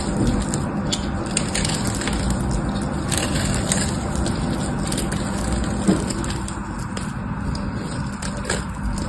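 A metal knife scrapes crumbly flakes off a solid orange bar of soap held in one hand. The result is a steady, dense crunching and scratching that sits mostly in the low range, with faint bright ticks over it and one slightly louder scrape near the six-second mark.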